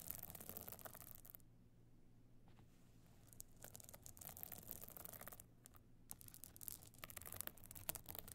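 Long nails of both hands scratch a small, flat, hollow evening clutch covered in glittering stone and sequin chips with a gold metal frame. Quiet, bright, crackly scratching comes in bursts over a steady low hum, with two softer lulls in between.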